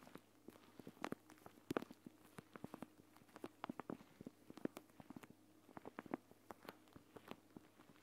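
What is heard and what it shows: Long dark-painted nails tap and scratch the surface of a plastic gel bead eye mask, a flat clear plastic pouch filled with green gel beads, lying on a woven mat beside the recorder. Quiet, rapid, irregular clicks and soft scrapes follow one another throughout, each dying away almost at once, with a dull, mid-pitched, crinkly tone over a faint steady hum.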